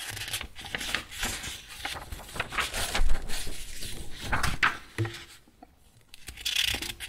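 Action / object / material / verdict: scrape / paper sheets in a metal ring binder / paper / none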